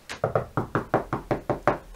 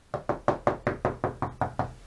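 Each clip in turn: First: plasterboard wall, solid spot over a stud. Second: hollow plasterboard between studs.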